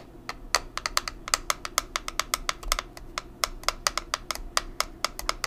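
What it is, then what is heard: Plastic powder compact tapped with nails. Long nails tap and scratch a small, square, black plastic pressed-powder compact with a hollow case, producing about thirty short, bright, dry clicks with almost no ring. Soft scratching fills the gaps between the taps.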